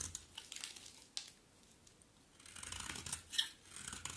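A utility knife blade scrapes curls from the face and edge of a solid, dry, terracotta pink-brown bar of soap. The sound is a quiet series of crisp, bright, papery scrapes with short sharp bursts and almost no low end, fading to near silence in the middle before a denser run of scraping resumes.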